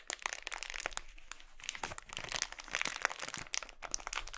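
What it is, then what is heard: Crinkled plastic mailer bag. An empty, glossy red, thin polyethylene mailer bag, scrunched into a ball on a wooden board, is pinched, squeezed and crinkled by fingertips. The result is a continuous stream of dry, bright crackles and sharp little snaps, mostly high in tone with very little low end. Each crackle cuts off almost instantly.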